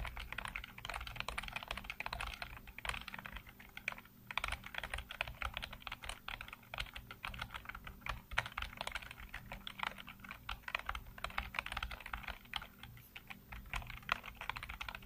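Fingertips rapidly tap and type on the hollow keycaps of a full-size black plastic computer keyboard, making a dense, continuous stream of quick, bright plastic clicks. A brief lull comes around four seconds, and a steady low hum sits underneath throughout.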